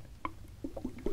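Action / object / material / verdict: shake / sealed metal food can with liquid contents / metal, liquid / full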